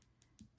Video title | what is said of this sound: Fun with UV activated resin! Cary Quilting Company, 4/30/24 | you can hear that they are literally hard plastic at this point